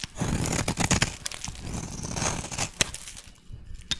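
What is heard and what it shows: A solid oval yellow soap bar, held in one hand, is shaved with a metal blade into fine yellow shavings. The scraping cut makes a continuous rough, crackly rasp with a low body and bright hiss, broken by sharp clicks as the blade catches. It thins to lighter scratches toward the end.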